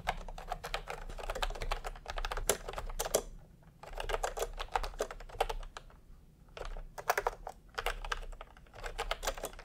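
Fingertips type fast on a full-size plastic computer keyboard with round pastel typewriter-style keycaps and a hollow body, resting on a white cloth. Dense bursts of short, clacky key taps run together, broken by brief pauses near 3.5 and 6.3 seconds. A faint steady low hum sits underneath.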